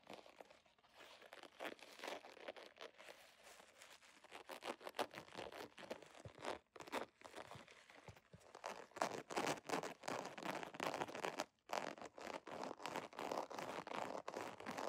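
Long nails scratch fast across the textured surface of a scale-embossed holographic vinyl zipper pouch, close up. The strokes make dense, crinkly, crunching scrapes, bright and papery with almost no low end. They come in quick, irregular bursts with brief pauses near 7 and 11.5 seconds.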